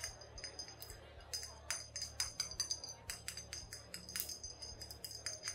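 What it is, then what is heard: Glass liquor bottle. A glass bottle of brown liquor, either whiskey or brandy, is tapped and handled, giving a quick series of short, bright clinks with a high glassy ring. Each clink dies away almost at once over a faint, steady low hum.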